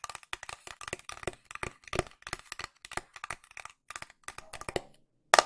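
Long nails tap on a flat pink cardboard box with a printed illustration, making about 25 short, dry, crackling taps in an uneven rhythm. The taps have a papery mid-range knock around 680 Hz with a bright edge and die away almost instantly. After a brief silence near the end, a louder burst of quick taps follows.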